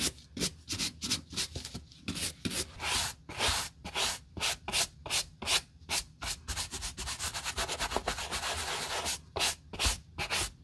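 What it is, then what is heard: Canvas and nubuck work boot brushed. A natural-bristle wooden brush is dry-brushed across the muddy toe and side of a large black DC work boot with a canvas and nubuck upper and a thick rubber lug sole, held in a gloved hand. Quick, irregular strokes make bright, scratchy rubbing bursts with a hiss, separated by short pauses.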